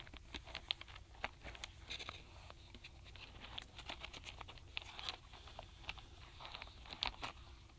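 Fingertips and long nails tap and drum across the tops of small solid wooden alphabet stamp blocks packed in a tray inside a paperboard box, with one block missing from the tray. Quick, quiet, dry clicks and patters come in irregular clusters, bright and crisp with almost no ring, over a faint steady low hum.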